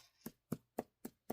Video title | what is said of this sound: Halloween Needle Felting Kit Review - It's SO CUTE! | you hear how hard that is I mean it's it's solid it's not you really felt it down so it's a nice solid piece